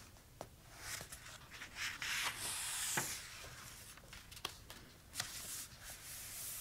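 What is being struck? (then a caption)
Paper notebook pages. Fingertips and short nails trace and rub along handwritten text on the uncoated paper pages of an open notebook with a pink hardcover. The result is a soft, hissy, bright rubbing and scratching sound that swells and fades, broken by a few sharp, brief ticks.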